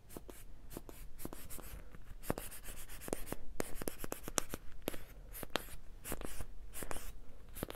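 Fingertips rub and scratch a small, solid, orange-yellow soft foam squishy toy with a face, held close. The result is a quiet run of dry, quick scratchy ticks and brushy crackles with bright, airy edges over a faint low rumble. Each tick stops almost instantly.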